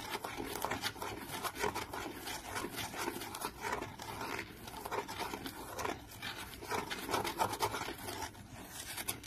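Fingernails scratch the lid of a small printed, decorated cardboard box held in one hand, making a steady run of dry, papery scraping strokes. The rasp centers in the midrange around 900 Hz with bright, hissy edges. Each stroke is quiet and dies out almost instantly, with no ring.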